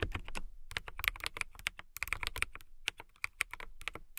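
A transparent acrylic/polycarbonate KiiBOOM Phantom 81 mechanical keyboard with clear keycaps and RGB lighting sits on a fluffy rug while fingertips with long manicured nails type on it. Quick, steady runs of short, dry, bright clacks come with a tonal click near 2.2 kHz and a soft low thump under each press. Brief pauses break up the bursts of typing.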